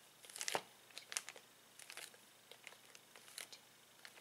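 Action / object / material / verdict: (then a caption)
scrape / clear plastic zip bag holding plastic toy pieces / plastic / none. A flat hand presses and rubs with its fingers on a clear plastic zip bag holding plastic toy pieces. It makes irregular bursts of bright, crisp crinkling with quiet gaps between them. The loudest crackle comes near the start, and there is almost no low end.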